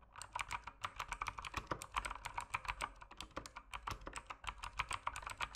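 A full-size mechanical keyboard with plastic keycaps and RGB backlighting sits on a desk and is typed on rapidly with the fingertips. Quick, crisp clacks and taps follow one another in a steady, uneven stream. Each keystroke is bright and sharp, centred around 1.2 kHz, and dies away almost instantly.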